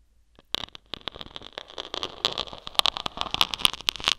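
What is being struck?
Foam microphone cover poked and scratched with thin metal needles.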